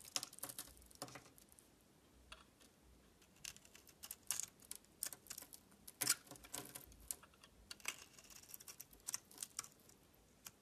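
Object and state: Bar soap being shaved.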